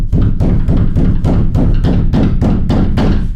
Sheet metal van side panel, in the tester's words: if I bang on the side, you can hear that sound. That's much more pronounced